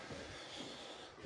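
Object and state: Nothing is struck.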